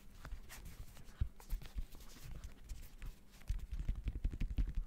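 Fingertips tap rapidly on the woven synthetic mesh upper of a hollow, empty gray high-top sneaker in the Jordan Horizon style, held close to the microphone. The taps are dull, deep, muffled thumps with almost no ring, landing in an uneven, quick patter. They grow denser and louder toward the end.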